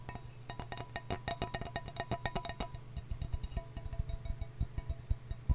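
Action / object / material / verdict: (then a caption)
tap / copper mug / copper / none. A copper mug is tapped, first in quick runs of bright, clinking taps and then in slower, more spaced taps. Each tap is short and dry with little ring, and a steady low hum sits underneath throughout.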